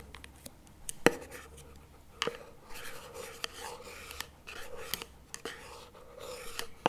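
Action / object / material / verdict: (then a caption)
tap / small plastic spread tub / plastic / none. Two wooden chopstick tips tap both sides of a small plastic chocolate spread tub lying on its side on a table, lid facing out. Sharp, hollow plastic clicks with a short, dry ring sit over soft, scratchy rubbing and rustling, with a mid-range tone near 480 Hz.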